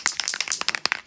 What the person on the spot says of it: inside the paint there's a ball bearing, you can hear it rattling